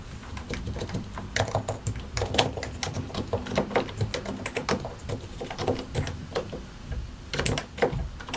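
Fingertips of both hands type on a compact white and grey mechanical computer keyboard with a hollow plastic case and plastic keycaps. The result is a steady, uneven stream of short, crisp keystrokes, each a bright click over a hollow low thock, with occasional louder strikes and no other sounds.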